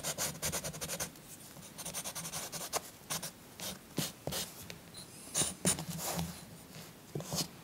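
A green chalk stick is scratched back and forth across a paper coloring book page resting on a soft cloth, coloring in the trees. Bursts of dry, bright scratching come in quick strokes with short pauses between them, over a faint low hum.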